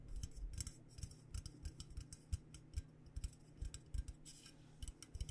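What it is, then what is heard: Insulated stainless steel water bottle. Long nails tap quickly and irregularly on the sides of a hollow, purple-coated metal Klean Kanteen insulated stainless steel water bottle. Each tap gives a soft, dull low thump with a bright clicky edge that dies away almost at once, over a faint steady hum.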